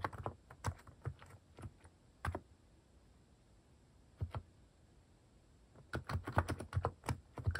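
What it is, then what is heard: Mechanical keyboard typing. Fingertips type on a compact mechanical keyboard fitted with cat-shaped plastic keycaps. Irregular bursts of short, dull clacks with a low thock and a bright click edge come in quick clusters, separated by quiet pauses near 2.5–4 seconds and 4.5–6 seconds. A dense run of keystrokes fills the final seconds.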